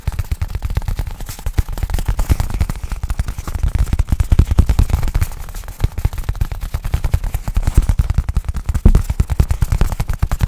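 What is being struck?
Nylon fabric bag.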